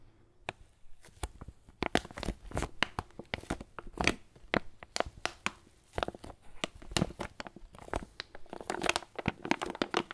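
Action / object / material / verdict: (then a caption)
scrape / foil coffee bean bag / foil / none. A foil coffee bag filled with beans is squeezed and crinkled by hand. Crisp, bright crackles and crunchy rustles burst out in quick, irregular runs, each sharp snap dying away almost at once.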